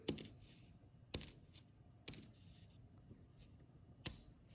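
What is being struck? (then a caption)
Copper penny. A normal copper penny is dropped four times onto a hard surface for comparison with an error coin. Each drop gives a bright, high-pitched metallic clink that bounces briefly and dies away quickly, with quiet gaps in between. It sounds like ordinary solid copper.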